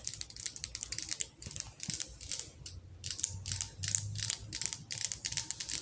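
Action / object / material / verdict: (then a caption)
tap / glass candle jar filled with wax, metal lid / glass / none. Long acrylic nails tap on the glass sides of a medium glass jar candle, full of orange wax, with a metal lid, held in the hands. A quick, uneven run of bright, sharp clicking taps follows in short bursts with brief pauses, each tap dying away almost at once.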